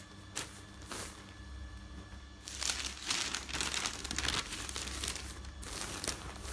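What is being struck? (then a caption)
Newsprint newspaper pages. Newsprint newspaper pages are lifted and turned by hand close up, then rubbed flat. Brief bright swishes of the turning page give way to a denser, louder stretch of crinkling, rustling paper over a steady low hum.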